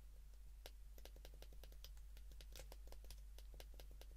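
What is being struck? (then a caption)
Plastic flip phone keypad buttons. A white plastic Japanese flip phone (garakei) is held open in both hands while its rubbery plastic keypad buttons are pressed rapidly with thumb and fingertips. The result is a quick, steady stream of short, bright button clicks over a constant low hum.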